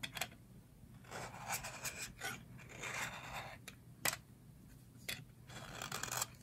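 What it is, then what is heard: Dry soap bar being scraped. A metal blade cuts and scrapes slices off a thin, solid yellow slab of dry soap held in the hands over a pile of shavings. Crisp, bright scraping strokes rise and fall, broken by sharp, dry clicks as the blade bites into the soap.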